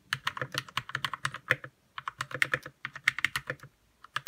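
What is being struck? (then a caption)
Plastic mechanical keyboard. Fingertips type rapidly on a white 60% RK61 mechanical keyboard with plastic keycaps and lubed red switches. Quick, bright, clacky keystrokes with almost no ring-out come in dense bursts. Two brief pauses break the typing before a final couple of keystrokes.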